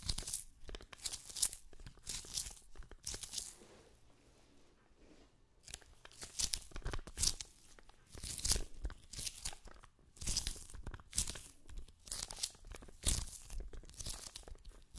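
Long painted nails and fingertips tap on and peel away from the white sticky paper roll of a handheld lint roller with a blue-green plastic handle, held upright. Bright, crackly tearing and peeling bursts come in quick clusters, with a quieter stretch partway through.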